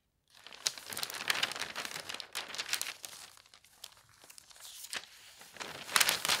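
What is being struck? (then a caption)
Newspaper paper. An open paper newspaper spread on a bed is flattened and rubbed with fingertips, and the edges of its pages are lifted. The result is soft, bright rustling and crinkling with quick, uneven crackles. It swells louder in bursts near the start and again at the end.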